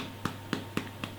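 Four taps on the bottom of a freshly baked hot cross bun, baked at 200 degrees near the top of the oven, each giving a short, soft, hollow knock. The hollow sound shows the bun is baked through and ready.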